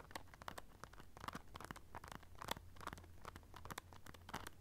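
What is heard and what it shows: Long nails scratch along a small black clutch pouch covered in silver rhinestone studs, producing a quick run of dry, crisp clicks and scrapes with a bright edge. Each tick stops almost instantly, over a faint steady low hum.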